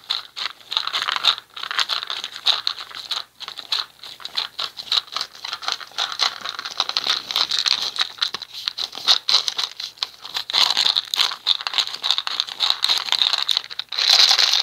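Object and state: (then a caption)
Plastic jar. A small round red plastic cosmetic jar is held close in both hands while fingertips and short nails tap and scratch its body and lid. The result is a dense stream of quick, crisp clicks and scratchy crinkling, bright and high with almost no low end. A louder burst of scratching comes right at the end.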